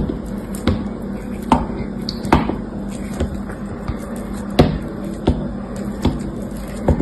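An orange-handled utility knife blade cuts into a solid blue soap bar with a grey dried crust, held in the fingers, and snaps off pieces of the crust. Twelve short, crisp snaps and cuts land at irregular intervals, each dying away quickly, over a steady low hum.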